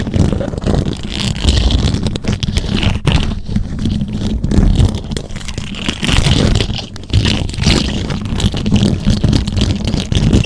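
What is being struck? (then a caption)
Metal mesh microphone grille. Long acrylic nails and fingertips scratch and tap the rounded, hollow, silver metal mesh grille of a condenser microphone. The result is a continuous, dense, low, rumbling scrape with a deep boomy undertone, overlaid with fast scratchy rasping and faint bright hiss. Its level rises and dips briefly without ever going quiet.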